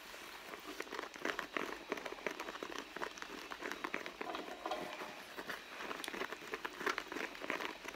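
Long blue nails scratch along the side and seams of a medium red pebbled-leather handbag that is hollow and soft. Quiet, dense scratching and crinkling fills the clip with many quick, dry strokes centered in the mid and upper range, with almost no low end.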